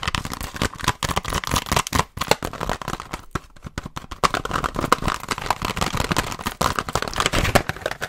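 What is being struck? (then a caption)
Hollow clear plastic blister pack on a card. Fingernails tap and scratch rapidly on a pink BIC disposable razor package: a hand-sized, hollow clear plastic shell on a card with razors inside. A dense, fast stream of crisp plastic clicks and crinkly scratches sounds bright and hollow, with a brief quieter lull about midway before the rapid tapping resumes.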